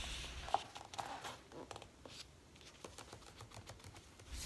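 Fingertips with short painted nails touch, rub and pat the thin paper pages of an open, large-format paperback coloring book held flat as a solid stack of paper. Soft, irregular dry taps and papery rustles come in quick, uneven succession at a low level, with a sharper tap near the start and brief bright crinkles over a faint low hum.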